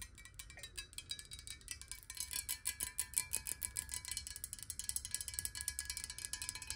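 A clear square glass water bottle with water in it is held and then stood upright while being tapped quickly with long nails. The rapid, bright, glassy clicks come in a steady, quiet stream, each dying away almost at once over a faint low rumble.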